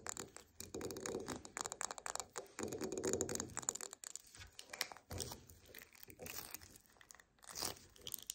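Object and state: Wax pillar candle.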